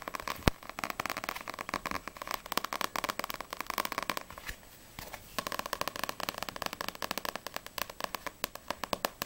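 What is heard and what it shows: Long nails tap rapidly on the glossy card front cover of a yellow Assassination Classroom paperback manga book, then move to the back cover. Dozens of quick, crisp clicks with a papery midrange tone run in dense bursts, with a brief near-silent pause around the middle before the fast tapping resumes.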